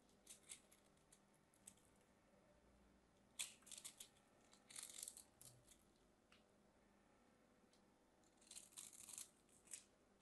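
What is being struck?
Bar of soap.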